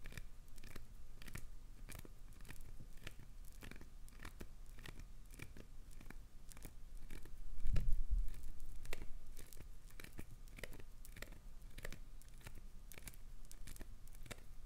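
Long acrylic nails scratch and rake through the surface of a chunk of solid, translucent green glycerin soap. The result is a steady series of short, crisp tearing and crunching strokes with a bright edge. A louder, heavier rake stands out about midway through.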